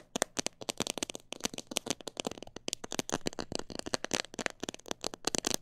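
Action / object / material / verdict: tap / plastic jar filled with bird seed / plastic / none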